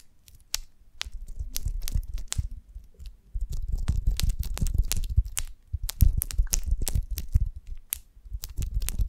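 Long nails on both hands scratch across the wax cell surface of a golden beeswax honeycomb on a branch, held upright with a twig on top. The result is dense bursts of dry, crinkly crackling with a heavy low rumble. Quick, bright clicks stand out, with short quieter pauses between bursts.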